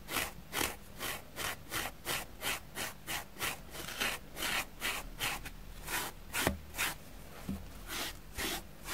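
A dusty grey porous foam sponge block is brushed repeatedly with a plastic spoolie brush in strong rubbing strokes. It makes a steady run of bright, airy scratching swishes, about two to three per second, over a faint low hum, with a slightly sharper scrape near the middle.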